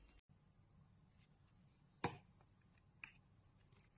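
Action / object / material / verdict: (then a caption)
scrape / bar of soap shaved with a metal blade / soap / none. A metal utility knife blade shaves the surface of a solid light blue Teo soap bar held in the hand, turning it into powdery curls. Quiet, steady low rustling is broken by one loud, bright, crisp scrape, followed by a couple of fainter, short scraping strokes.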